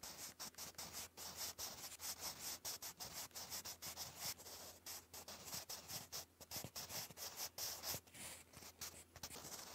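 A sharpened wooden graphite pencil, held in the fingers, writes in cursive on a lined grey paper notebook page. The result is a continuous dry, bright scratching that rises and falls in short strokes as the letters are formed.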